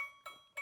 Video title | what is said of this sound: The American Woodshop - 2806 - American Folk Art, Weathervanes and Wall Art | Good tension on the blade.